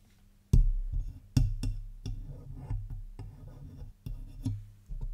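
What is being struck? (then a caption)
Metal microphone housing. Long white-tipped acrylic nails tap and scratch the hollow metal body and front control knobs of a large black Blue Yeti USB microphone standing on its stand. About eight dull, low thumps with short ring cut through a steady bed of rough, muffled scratching, with almost no bright content.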